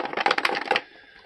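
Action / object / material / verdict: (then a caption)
shake / plastic clock radio casing with internal parts / plastic / loose. A Lenoxx Sound CDR-1902 compact disc player dual alarm clock radio, found outside in the rain, is shaken, and a loose part rattles inside its plastic casing with a quick burst of bright clattering that stops after about 0.8 seconds. The rattle comes from the AM coil antenna, whose board has snapped off its mount.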